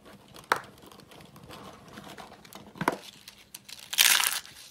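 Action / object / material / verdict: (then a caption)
scrape / shaved soap curls / soap / none. Fingertips crush and crumble tan, hollow, rolled curls of dry shaved soap into flakes on a white surface. Soft, dry crinkling runs throughout, broken by sharp, bright crunches, with a louder, sustained crackling burst near the end as the curls break apart.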